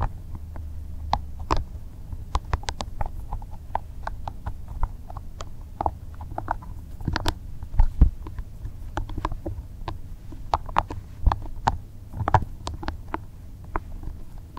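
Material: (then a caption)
Rubber. A small, soft green rubber spiky massage ball is held in both hands while the fingertips rub and squeeze its spikes. Many quick, dry ticks and soft scratchy taps play over a steady low, muffled rumble, with a few brighter, sharper clicks standing out.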